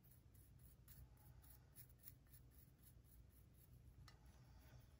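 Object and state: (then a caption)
Plaster dig block being scraped. A solid plaster gemstone dig block is scratched with a pointed wooden pick while the other hand holds the block. Soft, repeated dry scraping strokes with bright, gritty edges sit over a quiet, steady low hum.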